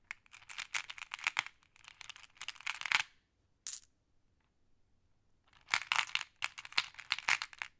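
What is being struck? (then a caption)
Small flat glass pebbles. A fingertip with a long nail pokes and sorts a pile of small, solid, flat glass decorative pebbles while the other hand holds a handful of green pebbles. Dense bursts of bright, sharp clicking and clattering come in clusters, centered around 2 kHz. A near-silent pause in the middle is broken by one short click before the clicking resumes.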